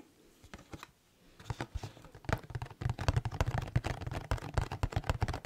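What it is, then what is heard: Cardboard food box tapped with nails. A medium, hollow red printed cardboard Santa Maria taco shell box, likely full, is held in both hands and tapped with long red nails. A few soft, sparse taps give way to rapid, irregular drumming with short, dull, low thuds and dry clicks that die away almost instantly.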